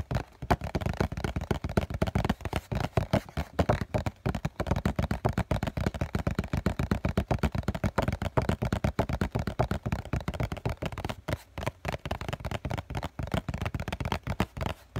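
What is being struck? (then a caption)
Cardboard tissue box. A hollow cardboard COCON tissue box is held up in both hands while fingertips and short nails rapidly tap and scratch its printed front face. The result is a dense, continuous stream of soft, hollow, low thumps with a papery scratching texture. Each tap dies away almost instantly.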